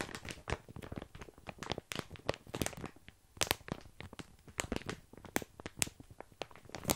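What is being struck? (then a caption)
Plastic bag of dry small pasta. Both hands hold a full, sealed plastic bag of tiny dry pasta while fingertips scratch and press the crinkly plastic. Dense, irregular crinkles and sharp, bright crackles come in quick bursts across the clip, with the small pasta shifting and crunching inside.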